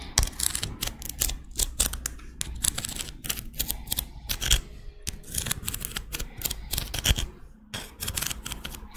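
Long red acrylic nails tap and scratch the ridges of a small, thin, hollow, curved pink-white ribbed scallop shell held in one hand. The result is a rapid, irregular series of sharp, bright clicks with very short decay, mixed with dry scraping, over a steady low hum.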